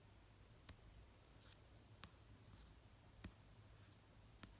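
Slow fingernail taps on the cover of an orange paperback novel resting on a fluffy blanket. Four soft, short clicks are spaced about a second apart over a quiet, low background hum.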